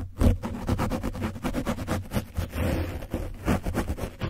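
A foam brush is scratched quickly over an orange foam microphone windscreen coated with dried paint. The result is rapid, repeated, close scratchy strokes, heavy and muffled in the low end with almost no bright content.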